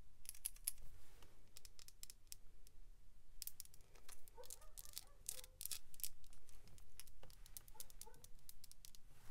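A small hollow clear and pink plastic capsule ball with pink glitter inside and a toy figure attached is held in the hands and tapped and scratched with long pink acrylic nails. Quiet, sharp, bright clicks and taps mix with soft scratching and rustling throughout.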